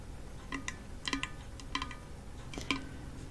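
Long false nails tap quickly on a hand-sized, hollow half-coconut kalimba, striking its painted wooden rim and the brown coconut shell underside. About nine light, clicky taps come in small clusters, each giving a brief hollow knock with a faint ring near 270 Hz and bright overtones. Each tap dies away almost at once over a quiet background.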